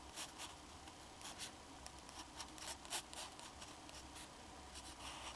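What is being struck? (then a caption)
Fountain pen nib on drawing paper. A black fountain pen's metal nib scratches short strokes across a flat sheet of drawing paper while drawing a face with a hat. Quiet, bright, dry scratches come in an uneven series of brief strokes over a faint steady low hum.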